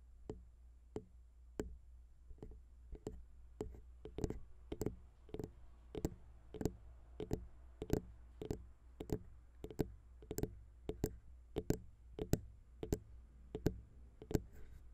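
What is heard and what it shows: Long pink nail tips of both hands tap quickly on the chrome XY metal microphone capsules of a Zoom H6 recorder. The result is a steady run of short, sharp clicking taps, each one dry and very brief over a low, constant hum.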